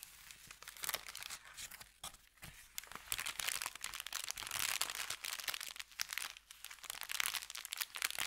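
An empty brown kraft paper bakery bag lies flattened on felt and is rubbed and scratched with the fingertips of both hands. It gives a dense, bright crinkling and scratching with quick crackles. The sound swells and dips briefly without ever fully stopping.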